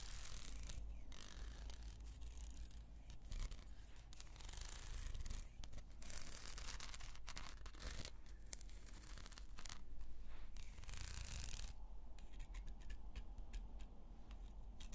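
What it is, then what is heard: Carved wooden comb scratched with nails. Long nails scratch slowly over the teeth and carved surface of a small, solid carved wooden comb, making soft, continuous rasping. Bright bursts of scratching come and go over a steady low hum.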